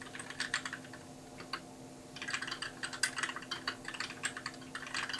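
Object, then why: Plastic mechanical keyboard. Fingertips type continuously on a compact white mechanical keyboard with plastic keycaps, giving quick, bright, short clicks in rapid bursts. The typing pauses briefly in the middle, leaving a steady low hum underneath, then resumes.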